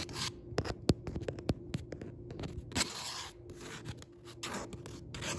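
Several fingertips tap and scratch the printed paper page (a Target Book Club Pick insert) of a paperback book lying open on a wooden table, its solid stack of paper pages beneath. A quick, irregular run of sharp, dry taps mixes with soft rubbing and papery scratching hiss. Each tap dies away almost instantly.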